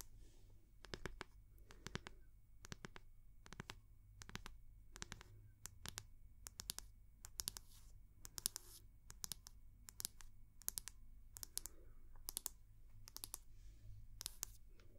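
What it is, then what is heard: Wooden hair brush tapped with fingernails. The round wooden back of a hair brush, held in one hand, is tapped with long nail tips in quick, sharp clicks that come in small bursts, bright and dry with almost no ring. A low hum runs steadily underneath.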